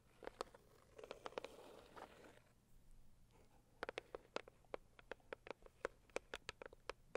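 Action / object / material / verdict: tap / cardboard box / cardboard / none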